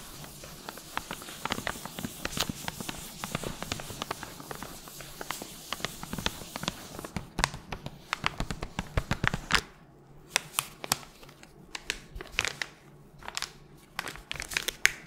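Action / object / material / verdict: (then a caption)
tap / small paper packet / paper / none. A small, flat, pink paper guitar-string packet is crinkled and tapped with long gloved nails while held close to the microphone. It makes a dense, bright papery crinkle over a soft hiss for the first half. Then come sparser, sharp, dry clicks and taps separated by quieter gaps.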